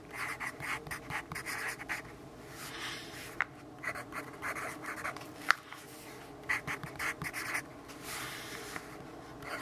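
A graphite pencil writes on the pages of an open paper notebook lying in sunlight. Scratchy, bright strokes come in short bursts separated by quieter stretches of soft rubbing, with a few sharp ticks where the lead taps the paper.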